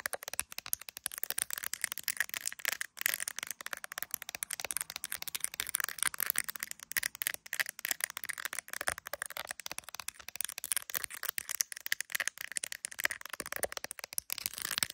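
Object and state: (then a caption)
Smartphone in a plastic case tapped and scratched with nails. An iPhone held in the hand, in a clear plastic case decorated with resin gummy bears, is tapped and scratched by long acrylic nails on its glass camera lenses and case. The result is a dense, continuous stream of very short, bright clicks and scratchy rasps, concentrated in the upper frequencies with no low end.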